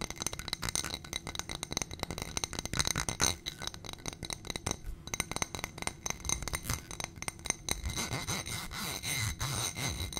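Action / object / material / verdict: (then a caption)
tap / ribbed glass footed dish / glass / none. A small ribbed glass footed dish on a gold stem, holding white contents, is tapped and scratched with long painted nails. Rapid, dense clicks and clinks blend with scratchy scraping, and bright glassy pings ring briefly over a low rumble.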